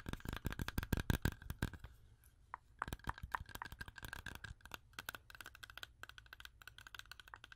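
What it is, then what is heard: Whole fresh apple, firm. A whole, solid, fresh red-yellow apple held in one hand is tapped and scratched with long orange acrylic nails. Rapid, uneven bursts of short, crisp clicks with a dull low thump and brief scratchy textures follow one another, with a short quiet lull near the two-second mark. Each tap dies away almost instantly.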